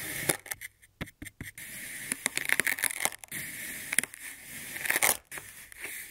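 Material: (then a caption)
Kinetic sand. A hand-held ceramic-bladed kitchen knife slices a solid molded block of olive-green kinetic sand with a swirled pink and purple core into thin slabs, which fold and pile up on a white surface. Each cut gives a dry, crumbly crunch and scrape, bright and hissy with almost no low end, arriving as quick bursts separated by short quiet gaps.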